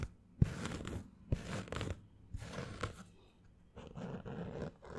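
A green structured snapback baseball cap with a fabric crown and stiff brim is held close and scratched with fingernails. Bursts of dry, crunchy scratching repeat in short strokes with brief pauses between them. The sound sits mostly low, with a sharp click at the start of some strokes.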